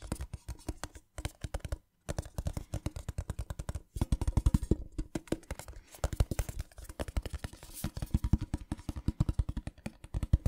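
A small, hollow, printed metal tin with a pattern is turned in the hands and tapped with fingernails. The result is quick runs of short, dry clicking taps with a low, hollow thump, broken by a few brief pauses.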